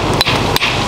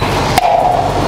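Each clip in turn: First: Two sharp, bright hammer taps that die almost at once: solid concrete, with no hollow boom. Second: One sharp hammer strike leaves a drummy mid-pitched tone lingering: hollow, delaminated concrete.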